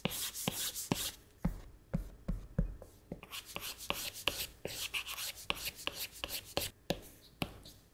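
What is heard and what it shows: A plastic Apple Pencil tip makes long rubbing strokes across the flat glass touchscreen of an iPad, drawing hair. About fifteen quick, separate scratchy swipes are heard, each a bright, dry rasp with a soft low tap that stops almost instantly.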